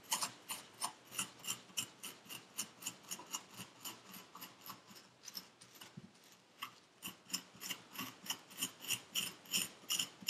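A metal needle tool scrapes and rakes purple kinetic sand packed into a paper cup, making about two dozen short, dry, gritty strokes in a steady rhythm. Each scrape is bright and hissy with almost no low end, and there is a brief pause around the middle before the strokes pick up again.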